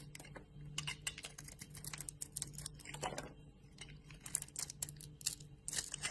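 A metal utility blade cuts and scrapes chunks off a hand-sized solid bar of soap, yellow on the outside with a white core, held in the hand. Rapid, crisp, dry crunching and scraping clicks come in quick bursts, bright and short with almost no ring. A faint steady low hum sits underneath.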